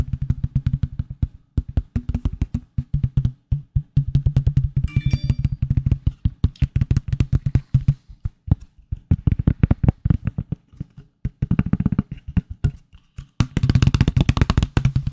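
A solid black smartphone in a plastic case is held over the microphone and tapped with fingertips, producing rapid, dull, low thuds that die away almost instantly. The tapping runs in quick bursts with short pauses, turning brighter and more clicky toward the end.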